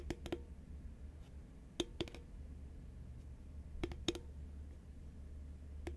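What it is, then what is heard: Cardboard chip can tapped with nails. A green cardboard Pringles chip can, held upright and hollow, is tapped along its side with long nails and fingertips. Quick, dry clicks come in small clusters with a short hollow ring, over a steady low hum. Each tap dies away almost instantly.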